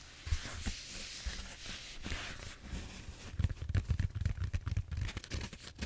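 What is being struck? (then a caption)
Bead-foam roller. A large purple bead-foam styrofoam back roller, a solid cylinder held horizontally and then tilted, is scratched and tapped on its textured surface with fingertips and nails. Soft, dry scratching and crinkling runs through the first half, then gives way to a quick series of short, dull taps and scrapes with a low thump under each.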